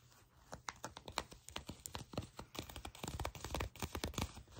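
Long pink nails scratch and rub the glossy surface of black faux leather trousers while the fabric is bunched between the fingers. The result is a quick, irregular run of short, dry crackling clicks and scratches with bright edges and a soft low rumble underneath.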